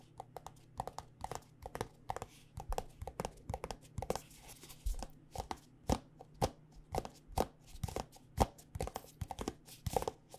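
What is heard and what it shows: Long nails tap quickly and irregularly on a white plastic body butter squeeze tube filled with lotion. Each tap is a short, dry click with a hollow tone around 785 Hz and almost no ring, over a faint, steady low hum.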